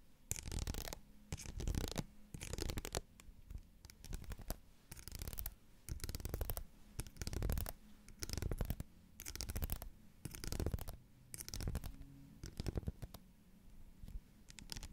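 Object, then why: Ribbed plastic bottle. Fingernails scratch and tap along the ribbed sides of a tall, hollow, pink ridged plastic bottle with a screw cap, held close to the mic. Short, uneven bursts of raspy scratching sweep up to a bright hiss, over a soft, hollow low thud that dominates the sound. Each burst dies away almost instantly, separated by brief quiet gaps.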